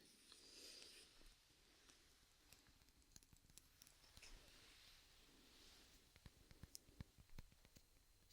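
Soft, quiet tapping on a hairbrush handle covered by a rubber sleeve gives muffled, dull clicks with brief bright edges over faint rustling. The taps come in an irregular run and grow sharper and more distinct toward the end.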